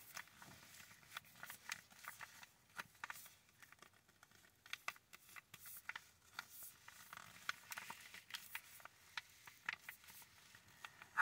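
Long acrylic nails scratch and tap the surface of a full, medium-size Starbucks ground coffee bag made of foil-lined paper, held in both hands. Quiet, bright crinkling and dry scratching run throughout, broken by many quick, sharp taps that stop almost instantly.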